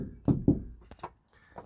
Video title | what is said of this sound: Sound Proofing (31) - Headliner - Main Cabin Part 10 | that is pretty drummy so um you can hear that sort of drumming away